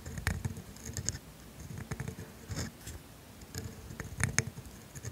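A steel dip pen nib drags across flat, thin grid paper while writing the word "made." Soft, scratchy strokes come in uneven bursts, with bright, crisp ticks as the nib catches and lifts. A faint low rumble runs underneath.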